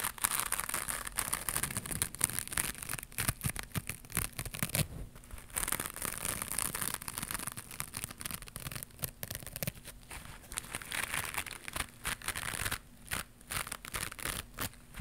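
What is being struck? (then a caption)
Woven fiber scrub pad. Long pink nails scratch across the rough surface of a small white textured woven fiber scrubber pad held up in both hands. The result is a dense, continuous run of quick, bristly scraping strokes with a bright, hissy texture and short pauses between bursts.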